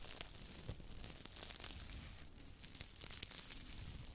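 A small, soft, squishy yellow porous foam sponge is held in one hand with long white nails and squeezed and rubbed by the fingertips close to the mic. It makes a steady run of quiet, crinkly, tearing crackles with a bright hiss and soft low thumps, each sound dying away almost at once.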